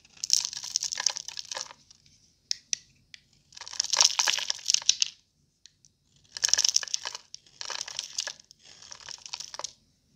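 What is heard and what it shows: A thin metal blade scrapes and carves a palm-sized, extremely dry purple bar of Fa soap held in one hand, so crumbly, powdery shavings fall away. Five bursts of bright, dry crunching and crumbling are heard, separated by brief pauses with a few small clicks and ticks.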